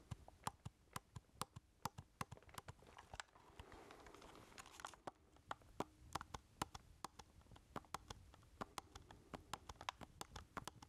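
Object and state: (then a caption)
Plastic keypad game controller. Fingertips tap and press the number keys of a hollow black plastic keypad game controller held in both hands. Roughly fifty short, sharp plastic clicks ring out at an uneven pace over a faint rustling bed, which thickens briefly midway through.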